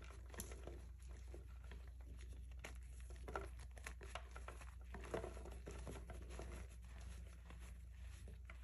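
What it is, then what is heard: Reformed gym chalk being crushed. Bare hands with painted nails squeeze, crush and crumble broken chunks of solid, dry, pale grey reformed gym chalk (magnesium carbonate) between fingers and palm, on a white surface beside a pile of powder. Quiet, dense crunching and gritty crumbling crackles run throughout, with a few sharper snaps, over a steady low hum.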